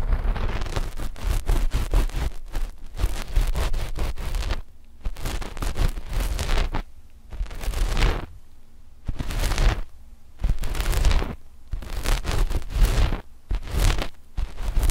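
A flat, black knit fabric sheet laid over microphones is scratched with the long fingernails of both index fingers at the mic positions. Bursts of dense, rustling scratching alternate with short quiet gaps. Each burst combines a heavy low rumble with bright, crackly streaks.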